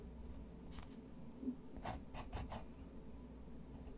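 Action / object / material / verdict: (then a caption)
scrape / thick textured paper sheet scratched by a fountain pen nib / paper / none. A fountain pen nib scratches and hatches across a thick, textured white watercolor paper sheet while the other hand rests on the sheet. Quiet, short dry scratching strokes rise out of a steady low background rumble, each fading almost at once.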